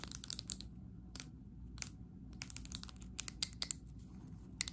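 Long acrylic nails tap and scratch the glass sides and rim of a medium glass candle jar filled with green wax. Quick, bright, clicky taps come in rapid bursts with short pauses, over a soft low rumble.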